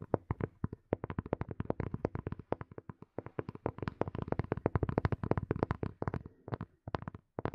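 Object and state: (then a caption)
Plastic earphone case tapped with nails. Fingernails tap rapidly on a small, hollow black plastic earphone case held close to the mic. Dozens of quick, dry clicks with a hollow low body sound in uneven bursts, each dying away almost instantly, with brief pauses near the start, middle and end.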